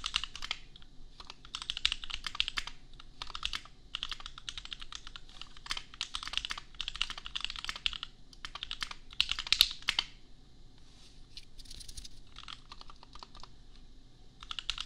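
A custom $250 compact mechanical keyboard with Gateron Milky Yellow switches and red and pink plastic keycaps is typed on with the fingertips of both hands. Quick bursts of bright, sharp plastic clacks follow one another with brief pauses, and each keystroke dies away almost instantly. A faint low rumble runs underneath.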